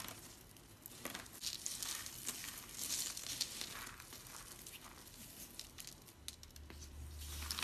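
Fingertips rub and rake through a large pile of crushed dry soap flakes in teal, purple, pink and white, made of many small, solid, brittle pieces on a flat surface. The result is a steady, bright, dry crinkling crunch with irregular louder rustling bursts, and a faint low hum comes in near the end.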